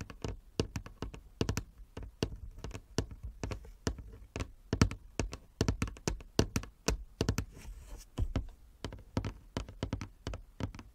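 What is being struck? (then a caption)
Wooden chess board. Fingernails tap on a wooden chess board in a quick, irregular run of sharp knocks. Each tap is a short, dry click with a low thunk around 100 Hz and almost no ring, with brief pauses between clusters.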